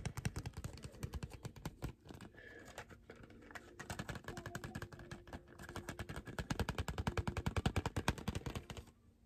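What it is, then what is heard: Packaged tape dispenser tapped. Fingertips and short nails tap quickly and aggressively on a small, hollow retail package of a Scotch tape dispenser, with a printed cardboard backing and a clear plastic blister, held in one hand. About sixty rapid-fire taps sound as dry, hollow, low knocks with crisp clicky edges and no ring. The taps soften briefly in the middle before building back to hard, fast bursts.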